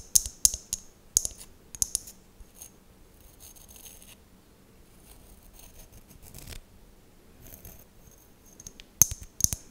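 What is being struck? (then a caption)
Small glass mosaic tealight holder. An empty, fist-sized hollow glass mosaic tealight holder is held close and scratched and tapped with long nails. Quick, bright, high glassy clicks and taps come in a cluster at the start and again at the end, with a stretch of soft, faint scratching in between. The taps die away almost instantly, with no lingering ring.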